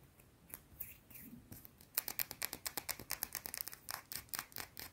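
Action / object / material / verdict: scrape / solid soap bar / soap / none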